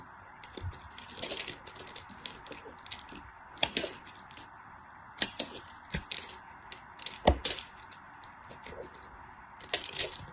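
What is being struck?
Glycerin soap bar scraped with a blade.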